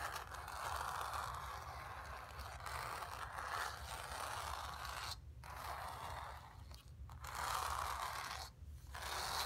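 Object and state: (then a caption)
Painted stretched canvas. Long nails scratch across the surface of a painted stretched canvas, making a steady, dry rasping scrape centered in the midrange with a bright hiss above it. The scratching runs almost continuously, broken by a few brief pauses before resuming at the same quiet, even level.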